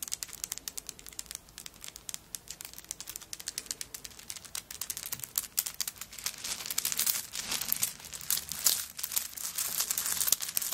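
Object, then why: Handbag covered in coconut shell chips. Long nails scratch across a handbag covered in coconut shell chips and grip the bag, making a dense stream of bright, dry crackling clicks with almost no low end. The scratching is light at first and grows louder and busier in the second half.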